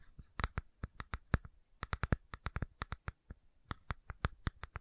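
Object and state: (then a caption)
Plastic supplement bottle. Long nails tap and scratch on the cap and body of a medium white plastic fish oil supplement bottle with a label. About 23 short, dry clicks and taps land in quick, uneven succession, with little ring after each and light scratching between them.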